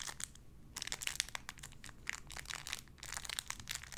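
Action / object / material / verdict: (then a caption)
scrape / thin clear plastic bag holding a soft squishy toy / plastic / none. A small clear plastic bag holding a pink paw squishy toy is crinkled and squished with the fingertips. Dense, bright crackling bursts come in quick clusters with brief pauses between them, each crackle dying away almost instantly. The overall level stays quiet with little low end.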